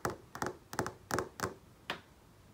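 A fingertip lightly taps and traces over text on a large flat-panel TV screen, making a series of short, dull taps, some in quick pairs. Each tap is a brief, dry click centered around 375 Hz with a bright edge, and it dies away almost immediately, leaving quiet gaps between.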